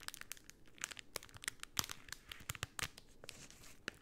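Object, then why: Rolled cellophane tube. A rolled pink cellophane tube is squeezed and scratched with long painted nails. It gives quiet, bright crinkling with many short, sharp crackles and snaps over a faint hiss, each dying away almost instantly.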